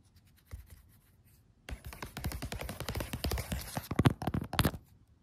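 Fingertips and nails tap and scratch across a thin sheet of graph paper covered in blue pen doodles, lying flat on a floor. A few soft, scattered taps give way to a dense, dry run of papery scratching and tapping with bright crackle. The sound builds to sharper, louder taps near the end, then quickly fades.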